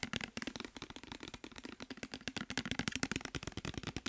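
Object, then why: Partly filled plastic bottle. A clear plastic micellar water bottle with a white cap, partly filled with liquid, is held in the hands and tapped and scratched with fingertips and nails. A fast, steady run of short, dry, clicky taps with bright scratchy edges carries a faint hollow tone around 266 Hz. Each tap dies away almost at once.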